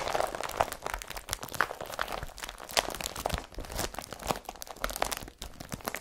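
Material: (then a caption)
Polypropylene. A blue IKEA BRATTBY woven polypropylene carrier bag lies flat and empty while long fingernails scratch and rub across its plastic weave. The result is a dense, continuous run of dry crinkling and scratchy crunching with a bright edge. Short sharp ticks come through with almost no ring.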